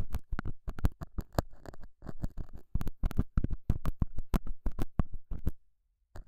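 A straight, pointed metal scaler tip scratches and pokes the surface of a small, solid, square beige felt pad mounted over a small lavalier mic. It makes a rapid, uneven series of short, muffled, low-heavy scrapes and thumps. The sound falls silent for a moment before one last scratch at the end.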